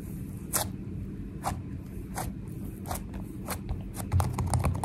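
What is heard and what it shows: Long nails and fingertips tap fast and press into a solid, sticky mound of soft purple slime with foam beads resting on a counter. Short, bright crackly clicks and squelchy pops land irregularly over a steady low rumble, growing quicker and louder toward the end.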